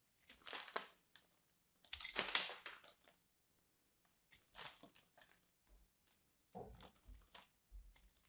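A knife and fingers break crunchy chunks off a partly carved solid purple soap bar. Bursts of dry, bright crunching and crushing scrapes come in uneven clusters with short quiet gaps, mostly high-pitched with almost no low end.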